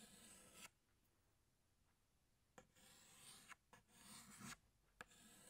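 A pink chalk stick held in the fingertips is drawn across a flat black chalkboard, outlining a flower. Quiet, bright, rasping scrape strokes come in short bursts with tiny clicks where the chalk meets the board, separated by a long silent pause and a few brief gaps.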